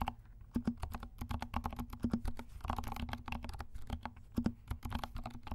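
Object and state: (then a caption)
Plastic mechanical keyboard. Fingertips of both hands type steadily on a compact 68-key mechanical keyboard with dark plastic keycaps and silent switches. The result is a rapid stream of soft, muted clicks and low thuds that stop almost instantly, with a few slightly louder presses.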